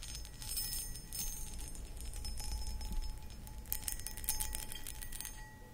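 Long acrylic nails scratch across the textured surface of a medium, hollow, empty cut crystal glass pedestal bowl, producing dense bursts of bright, crackly scraping with faint high glassy ringing tones. A steady low rumble sits underneath throughout, and the scratching swells in a few busier flurries before tapering off.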